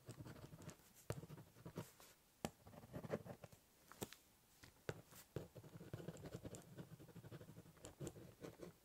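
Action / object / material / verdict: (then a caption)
scrape / ballpoint pen on corrugated cardboard box / cardboard / none. A ballpoint pen writes, scribbles and scratches across the top of a large corrugated cardboard box, cross-hatching and doodling. Quiet, dry scratching strokes carry a hollow, low rumble from the cardboard, broken by sharp, brief taps as the pen lands and lifts.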